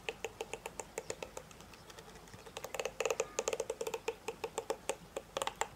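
Fingertips and nails strum and scratch across the dense, thin plastic bristle tips of a hand-sized hairbrush with a black plastic body, held in the other hand. The result is a quiet, rapid series of short, dry, crisp flicks centred around 450–500 Hz with bright high edges. The strokes become louder and denser about halfway through.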